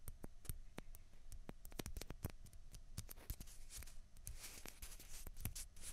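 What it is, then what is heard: Plastic ping pong balls tapped and scratched. Long fingernails tap and scratch two small, hollow, white plastic ping pong balls, one held in each hand. Many quick, sharp, bright clicks come in an irregular run, with a soft scratchy rustle building toward the end. The sound stays quiet and close throughout, each tap dying away almost at once.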